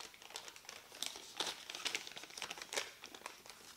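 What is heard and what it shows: A printed white thermal paper receipt strip, held in both hands, is crumpled, folded and rubbed between the fingertips. A dense run of dry, bright crinkles and crackles follows, with sharper louder bursts along the way and almost no low end. Each crackle stops almost instantly.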